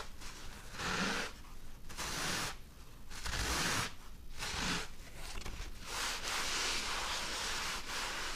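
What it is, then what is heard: Foam block being scratched. A thick, rectangular, two-layer white foam block, hand-sized or larger, is held in the hands and scratched and rubbed by medium-length nails painted dark. Bursts of bright scraping and crinkling come in uneven strokes, separated by brief quieter pauses.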